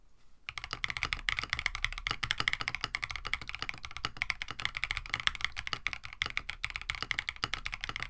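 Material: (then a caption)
Plastic. A compact KBD67 Lite mechanical keyboard with a plastic case, FR4 plate, PBT plastic keycaps and stem-lubed Oolong switches is typed on with the fingertips of both hands. After a brief quiet start, a steady run of rapid, short, bright clacks follows, each dying away almost at once, centred around 3.4 kHz with a light low thump beneath.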